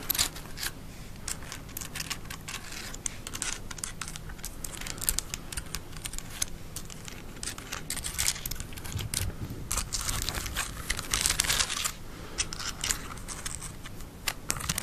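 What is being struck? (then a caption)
Plastic bird skeleton model. Long nails tap and scratch along the thin ribs and body of a small, white, hollow, open-framed plastic decorative bird skeleton model with a skull, held close to the mic. The result is a dense run of rapid, bright clicks and dry, scratchy rustling over a low, steady hum, with the taps stopping quickly and leaving no ring.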